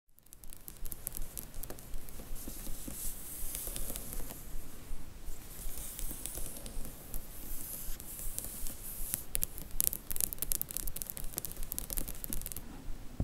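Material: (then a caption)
Paper card. Long manicured nails tap and scratch across a row of seven Harry Potter paperback spines with paper and card covers, standing in a cardboard box set. The result is a steady stream of quick, light clicks mixed with a dry, hissy scratching that stays soft and even throughout.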